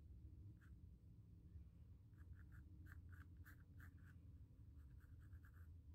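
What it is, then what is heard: Pencil sketching on stretched cotton canvas. A pencil sketches lines over a small square white stretched cotton canvas panel, scratching across the textured primed surface. Short, soft scratchy strokes come in quick clusters, each with a thin papery hiss, over a steady low background rumble at a very quiet level.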